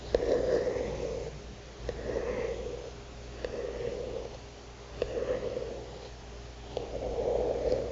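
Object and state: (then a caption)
Fingernail tapping a paper notebook cover. A single long painted fingernail taps and scratches across a flat notebook or card cover of thick cream paper printed with a Lakshmi illustration. Five sharp, short taps fall at uneven intervals between soft, raspy scratching swells with a mid-range papery tone.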